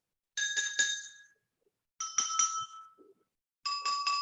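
Drinking glasses from the same set, each thin and similar-looking, are tapped in turn, three quick taps per glass for nine bright, ringing clinks. Each glass rings at its own pitch, stepping lower from one to the next, showing that glasses that look alike can sound very different.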